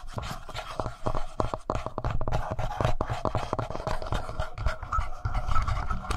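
Fingernails scratch and scrape across the front face and lower buttons of a black plastic Tascam handheld audio recorder with a hollow body. The result is a dense, continuous run of quick, dry scrapes and clicks over a low, hollow thumping from the body, with a faint steady tone running underneath.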